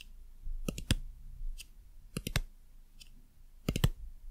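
Long nails tap the plastic base panel and label on the underside of a white silicone dumpling lamp, and also the lamp's surface. Short, sharp clicking taps come in small quick clusters of two or three, each with a dull low thud and a bright, crisp top. They die away almost instantly over a quiet background.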